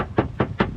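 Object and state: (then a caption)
Undamped steel van fender. Knocks on a steel van's bare front fender, which has no bitumen damping sheet. The result is a series of short, low, hollow metallic thuds. The undamped sheet sounds louder and more resonant than a bitumen-covered panel, which sounds like knocking on wood.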